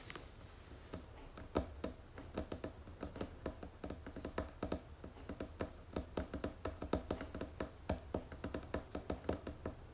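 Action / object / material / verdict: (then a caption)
tap / plastic screw lid of a cream jar / plastic / none. Long nails tap on the top of the red plastic screw lid of a medium-size white pomegranate moisturizing cream tub. The result is a rapid, uneven series of short, dry, hollow clicks with a low plasticky tone, each dying away almost at once. A steady low hum sits underneath.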